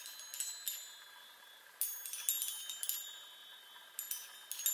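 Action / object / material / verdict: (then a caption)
tap / metal tube chime on wooden frame / metal / none. Long nails tap and strike the hollow metal tubes of a small handheld chime on a wooden frame, giving a quiet series of separate bright, tinkling hits in small clusters. Each strike rings briefly with high, thin metallic tones and no low end before fading.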